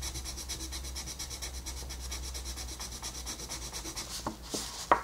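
A wooden colored pencil rubs back and forth over a flat paper coloring book page while shading, making a steady, rhythmic, bright scratchy rasp over a low constant hum. Near the end, a few sharper tap-like clicks stand out from the strokes.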